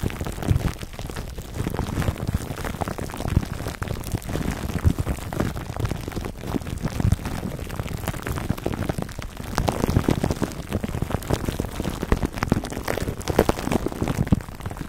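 Fingertips and short nails of both hands scratch clear plastic cling wrap stretched over a dome-shaped black foam microphone windscreen. The result is a dense, continuous stream of crinkling and scratching crackles that sounds heavy in the lows and muffled, with little bright edge. The sound keeps a steady rustling level throughout, with frequent sharper pops.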